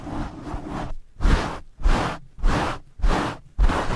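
Both hands in purple and blue nylon mesh scrub gloves rub quickly along the sides of a black foam windscreen on a blue microphone. After a second of continuous scratchy friction, five separate rapid rubbing strokes follow in a steady rhythm, each a loud, deep, muffled rumble with a coarse scraping texture.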